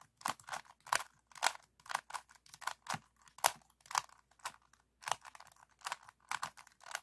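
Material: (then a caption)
Plastic. A 3x3 plastic speed cube is held close while fingertips and short nails tap and scratch its red tiles. The result is a series of irregular, dry clicks and short scratchy bursts with a bright, crisp edge and no ring between them.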